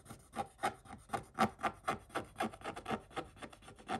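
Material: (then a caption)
Coated paper. A wooden stick scratches the coating off a scratch-art page of scratch-off coated paper, with a hand partly covering the page. About 13 short, dry, rasping strokes come in a loose, uneven rhythm, each a quiet, gritty scrape centered in the mids with a bright edge and no ring afterward.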